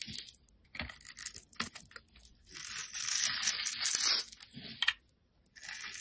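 A solid, rounded blue bar of soap is held in the fingers while its surface is scraped and shaved with a snap-off utility knife blade, and powdery flakes fall away. Short crisp scrapes give way to a longer, steadier rasping shave, all bright and hissy with almost no low end, before the sound stops briefly and resumes.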